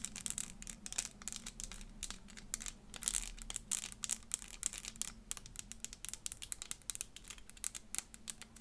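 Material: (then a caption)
Plastic. A small, hollow, clear plastic 3D crystal elephant puzzle of interlocking pieces, held in one hand, is tapped and scratched with long fingernails. Quick, dense, bright clicks and scratchy rustles crowd together with almost no ring, over a faint low hum.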